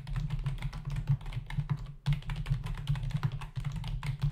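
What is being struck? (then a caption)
Plastic membrane computer keyboard. Fingertips of both hands rapidly tap the hollow key caps of a black plastic membrane desktop keyboard in a steady stream of short, dry clicks. Each keystroke has a soft low thump and a brief bright tick. The typing pauses briefly near the two-second mark before resuming.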